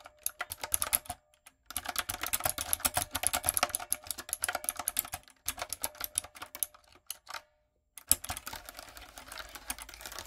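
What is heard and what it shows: Long coffin nails and fingertips type on a backlit, plastic, typewriter-style mechanical keyboard with a hollow body and round retro plastic keycaps. Rapid, bright, clicky keystrokes come in dense bursts with a few short pauses, each tap ending almost instantly, over a faint steady mid-pitched hum.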